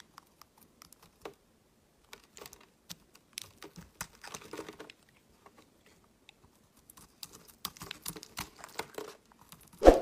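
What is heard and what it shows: A metal utility-knife blade shaves and carves flakes off the surface of a palm-sized, solid pink marbled Palmolive bar soap held in the hand. Short, crisp scraping clicks and crackles come in scattered bursts, thickening into denser clusters around the middle and later on. It ends on a louder, rougher scrape.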